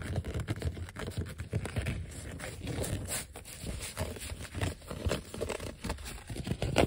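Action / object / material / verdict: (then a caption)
scrape / thin vinyl sticker sheet / vinyl / none. Fingertips and short nails scratch and tap across a flat, thin yellow vinyl sheet of die-cut letter and number stickers, with some letters peeled off. The result is a steady, dense run of soft, dry scratching with quick, muffled taps that die away almost instantly, weighted toward the low end.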